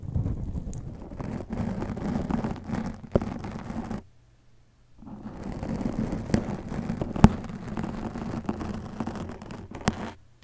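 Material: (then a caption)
Foam. Long fingernails of both hands scratch and rub a round, fist-sized black foam windscreen fitted over a microphone. The result is a dense, muffled, low rumbling rustle, broken by a brief silence near the middle and by a few sharp, bright clicks.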